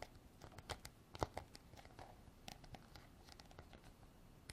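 Long black artificial nails tap and scratch around the white plastic cap and neck of a hand-sized, textured white hard plastic container. The result is a quiet, irregular series of quick, dry clicks and scraping rustles, with a few sharper taps that ring out almost instantly.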